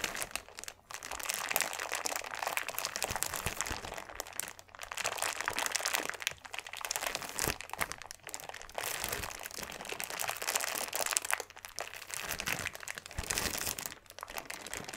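A medium-sized clear plastic bag with a label, full of small purple granules, is squeezed and handled by fingertips. It gives a continuous, bright crinkling and crunching of plastic with dense tiny crackles and granules shifting inside, and brief quieter pauses between handlings.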